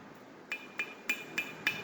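Five sharp thumps on the metal tail section of a Redeye/Demon driveshaft, which has a thicker wall and weighs about 2 pounds more than the stock Hellcat shaft. Each hit gives a bright, short ring near 2.4 kHz that fades quickly, without the hollow sound of the stock shaft.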